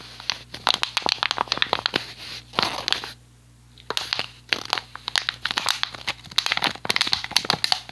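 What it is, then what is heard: Empty plastic water bottle being crumpled. An empty, hollow, clear PET plastic water bottle with a blue cap is crumpled and squeezed by both hands. Dense bursts of sharp, bright crinkling and crackling snaps follow one another, with a brief quiet pause partway through. Each snap is dry and dies away instantly.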